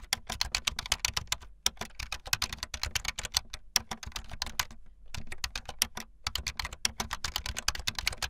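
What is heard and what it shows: Fast typing on a full-size backlit plastic Bluetooth membrane keyboard with white and blue plastic keycaps and a hollow plastic body, the keys pressed with fingertips and the tips of long painted nails. A dense stream of short, bright plastic clicks and taps runs over a soft low thud, with brief pauses around the middle.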